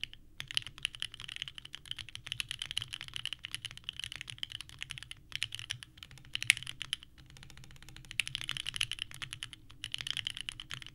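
Both hands type continuously with the fingertips on a small 65% mechanical keyboard with a purple case and white ABS keycaps resting on a desk mat. Dense, bright, clacky key presses patter quickly, each click short and dry, with a couple of brief pauses midway before the typing resumes.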